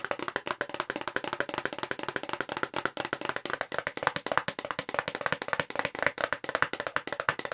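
A long, narrow, hollow light-blue printed paperboard box for a makeup brush is held up in both hands and rapidly tapped with long pink acrylic nails. The result is a fast, continuous stream of short, dry clicking taps with a hollow papery tone centered around 1.2 kHz, little low end, and almost no ring after each hit.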